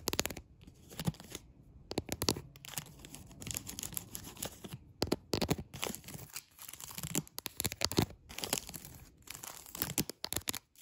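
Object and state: Plastic cling film over tile.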